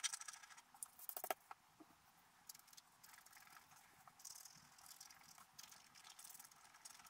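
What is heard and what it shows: A wooden stylus scratches leaf lines into a black-coated scratch-art paper card held flat. Quiet, dry, bright scraping strokes come in short irregular bursts, with a few sharper ticks near the start, then settle into a steady, faint rasp.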